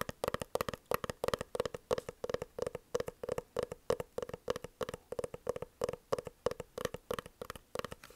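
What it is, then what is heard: Hard-shell glasses case. Long fingernails of both hands tap rapidly on a dark, oblong, hollow hard-shell eyeglasses case held horizontally. The taps come in quick, uneven clusters of short, dry clicks with a hollow mid-pitched tone.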